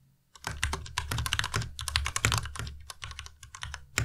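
Fingertips of both hands type continuously on the plastic keycaps of a white Ducky Miya Pro tenkeyless mechanical keyboard. After a brief quiet start, a rapid run of overlapping clicky keystrokes follows, each pairing a bright click with a low thump and fading quickly.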